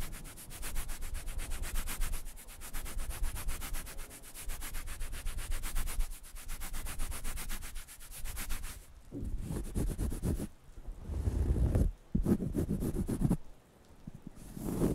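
A round, flat, light-brown cork coaster, thin and solid, is held in one hand and scratched and rubbed with fingertips and nails close to the microphones. For the first nine seconds, fast, steady scratching produces a dense, rapid rasp. After that, slower, heavier rubbing strokes come in bursts separated by brief pauses, with a deep, muffled low end.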